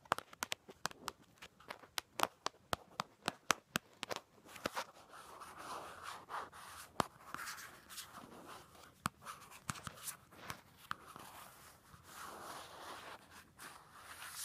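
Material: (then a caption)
Cardboard. Long gold acrylic nails tap and scratch across a flat pink-and-white striped cardboard notebook cover lying close by. A quick run of crisp, dry taps gives way to softer, bright papery scratching with occasional taps mixed in.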